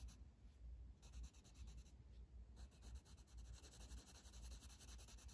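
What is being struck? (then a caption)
Wooden colored pencil on a paper coloring page. A blue wooden colored pencil held in the fingers shades a flat paper page of a coloring book resting on a table. Quiet, steady scratchy rubbing comes in quick back-and-forth strokes, with a soft low rumble underneath and faint bright hiss in places.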